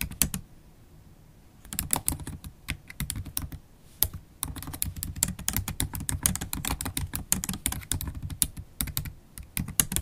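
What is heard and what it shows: Long black stiletto acrylic nails and fingertips type on a MacBook Pro laptop keyboard with low-profile black plastic keys set in a silver aluminum body. The result is a fast stream of short, crisp clicks with a bright tick and a soft low thump under each keystroke. One brief pause near the start and a short lull around the four-second mark break up the typing.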